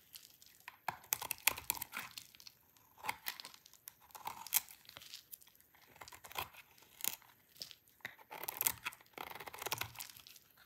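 A hand-sized solid cream bar of dry soap, held in the hands, is shaved with a utility knife blade that scrapes off thin, brittle strips. Quick, dry, crisp scraping and crackling strokes come in irregular bursts, bright and high with almost no low end, each stopping short with no ring.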